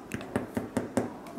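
An oatmeal bread loaf, baked for 45 minutes, is tapped to test doneness instead of sticking a knife in it, giving a run of evenly spaced, dull, low thumps that fade quickly. The loaf sounds hollow, showing it is baked through and done.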